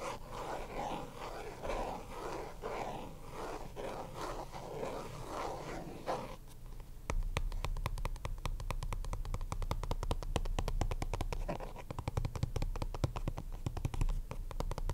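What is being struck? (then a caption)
Small plastic card deck box. A small, hollow purple Ultra Pro plastic card deck box resting on a desk is scratched and tapped on its top and sides with fingertips and nails. For the first six seconds there is a soft, rustling scratching. After that comes a long run of quick, hollow plastic taps with a low thud under them.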